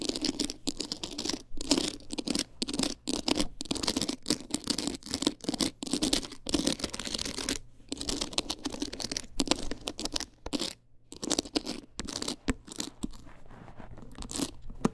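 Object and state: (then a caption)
Rhinestone-covered clutch wallet. Long acrylic nails rapidly scratch and tap a rigid, box-shaped teal clutch wallet covered in small rhinestones and beads. Many quick, dry, bright scratches and clicks run in dense bursts with brief pauses, each sound stopping almost at once, over a faint steady low hum.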